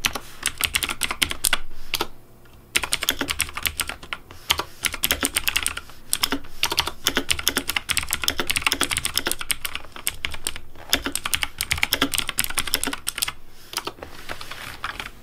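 Fingertips type fast on a pink plastic mechanical keyboard, producing a dense stream of sharp, bright key clicks with very short decay. The rapid presses run nearly continuously, broken by a brief pause around the two-second mark and a few short gaps later on.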